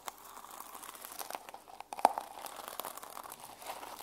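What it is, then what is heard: Plastic sequin journal cover. Fingertips and long nails scratch and brush the plastic sequins on the cover of a small mermaid sequin journal held in the hands. The result is a steady, soft, crinkly rasp of many tiny clicks, centred in the midrange with no low end. One sharper, louder tick stands out about halfway through.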